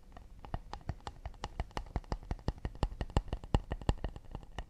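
An acacia wood plate is tapped quickly and delicately with the fingertips. The result is a rapid, uneven stream of short, dry taps: each one a soft low thump with a faint bright click that dies away at once, with no ring.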